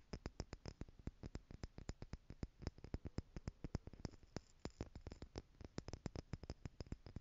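Long nails tap rapidly on small clear plastic stacking jars filled with gold glitter as the jars are held up. Dozens of quick, dry clicks follow one another with almost no ring, each a sharp tick with a dull low thump beneath it.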